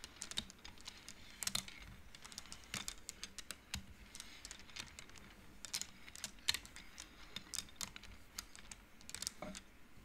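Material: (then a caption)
Wood. Fingertips with long nails slide the painted wooden beads along an upright wooden-frame abacus, clacking them together. The result is a steady stream of quick, bright clicks with almost no ring, some slightly louder than others, over a faint low hum.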